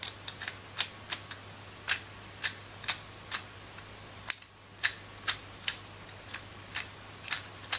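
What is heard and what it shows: Long nails tap and scratch the white ridged plastic rollers of a palm-sized coral plastic hand massager and spin them, making about nineteen short, bright, dry clicks and scrapes spaced irregularly. Each tick stops almost at once, over a quiet, steady low hum.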